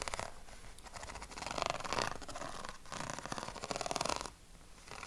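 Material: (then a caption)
Paper. Fingernails scratch across the ribs of a yellow corrugated craft paper sheet held against the chest, making a quick, raspy, purr-like rattle of closely spaced ticks. The scratching comes in several bursts that swell and fade, with bright, papery texture over a soft low rumble.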